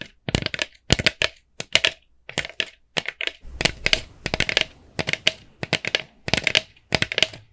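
A small, hollow, empty orange plastic jack-o'-lantern bucket is tapped and scratched with long nails. Quick, bright, clicky taps come in tight bursts with short scratchy passages between them, and each tap dies away almost at once.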